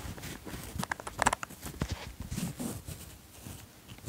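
Fingers pull the zipper pull of a light grey ribbed fleece jacket up and down. Quiet clicking and ticking from the zipper mix with a soft fabric rustle, with brief louder bursts in the middle before it settles back to a low scratching.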